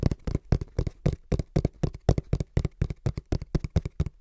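Fingertips tap rhythmically and quickly on the printed face of a small, hollow brown cardboard box held in both hands. About 25 dull, low, hollow thumps come in quick, uneven clusters, each dying away almost at once with no ring.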